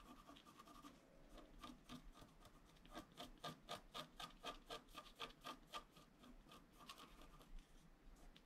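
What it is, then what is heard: Scratch-art paper being scratched. A wooden stylus scratches along the lower edge of a flat, black-coated scratch-art card lying on a table. Quick, rhythmic rasping strokes come at about four per second, louder and more distinct in the middle, with a dry, bright scratchy texture.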